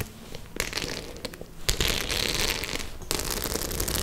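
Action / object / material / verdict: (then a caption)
scrape / faux leather clutch bag with metal studs / faux leather / none. Long nails scratch and tap the metal studs on a white studded faux leather clutch bag held at an angle. Bright, dry crackling scratches mix with quick sharp clicks, growing louder and denser partway through and flaring again near the end.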